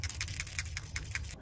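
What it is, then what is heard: PCV valve with free-moving plunger. A new PCV valve for a 2004–2007 Toyota Highlander is shaken by hand right after the old one for comparison. Its internal plunger rattles freely in a series of quick, bright metallic clicks over a steady low hum. The free movement shows the new valve is working properly.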